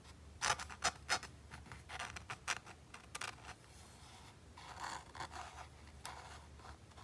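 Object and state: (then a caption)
Plastic game controller grip being scratched. A fingertip and fingernail scratch the white micro-textured plastic handle of a hollow PS5 DualSense controller. Quick, bright, dry scratching strokes come in sharp bursts early, then ease into softer rubbing and scraping over a faint low hum.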